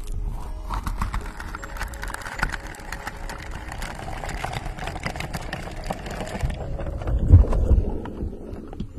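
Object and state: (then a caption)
Silicone microphone cover, rubbed. A pink, glittery, textured silicone cover pulled over a microphone head is scratched and rubbed with the fingertips. The result is a dense, continuous, low scratchy rumble with faint crackles. The high hiss drops away after about six and a half seconds, and a brief louder swell comes around seven seconds.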